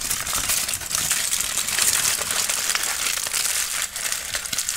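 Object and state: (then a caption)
Aluminium foil crinkled. A loosely crumpled sheet of aluminum foil is squeezed and crinkled in the hands while an orange tabby kitten watches from a distance. A steady, dense, bright crackling and crinkling continues throughout, with almost no low end and only brief dips between squeezes.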